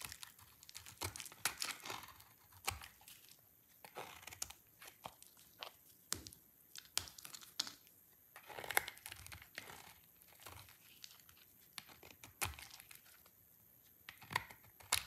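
A solid dry pink soap bar is carved into thin flakes with a utility knife blade held by the fingertips. Quiet, bright, crisp scraping and crunching strokes come in irregular bursts with short pauses between them. Each cut ends sharply with no ring.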